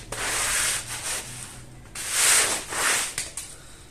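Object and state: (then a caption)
Wet woven rug being scrubbed. A long-handled plastic-bristle brush scrubs a small floral woven fabric rug that is wet with foam on a tile floor. Bright, hissing scratchy strokes swell and fade in uneven bursts, mostly in the high range with little low end.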